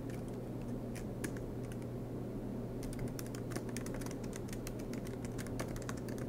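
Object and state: Laptop keyboard with plastic keys.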